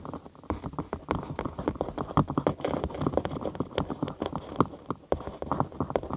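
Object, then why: Thin cork sheet. Long acrylic nails tap and scratch a thin cork sheet curved over a binaural microphone, hollow underneath. Quick, dry, hollow taps patter in a dense, uneven stream with a soft scratchy rustle between them. The sound is mostly low-mid and dies away almost instantly.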